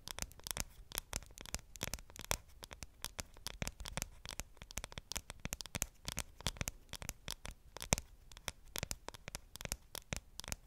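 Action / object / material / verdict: tap / aluminum smartphone back / aluminum / none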